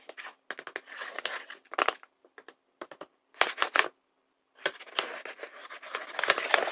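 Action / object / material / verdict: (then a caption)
scrape / thin paper bag / paper / none. Hands with short pale-painted nails rub, tap and crinkle a large, flat, sealed paper blind bag printed with fruit drawings. The clip is a run of dry, bright rustles and crisp taps, broken by short pauses, with the busiest crinkling near the start and end.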